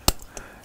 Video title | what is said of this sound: COMMENT TAILLER UN CAMÉLIA POUR LE RESTRUCTURER | Si ça sonne creux, c'est du bois sec. Si ça sonne plein, c'est un bois vivant.